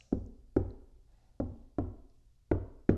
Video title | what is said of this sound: Better audio & reduced noise! How to sound deaden & treat outer vehicle door skin | Much more solid, especially down here by the speaker.